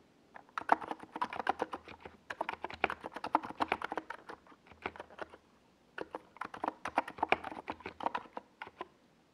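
Fingertips of both hands type on a NiZ Plum Atom 68, a compact 68-key mechanical keyboard with a hollow white plastic case and purple and yellow plastic Domikey Gas Attack SA keycaps, resting on a desk pad. Rapid flurries of short, hollow clacks with a mid-pitched body and bright ticks come in bursts separated by brief pauses, each keystroke dying away almost instantly.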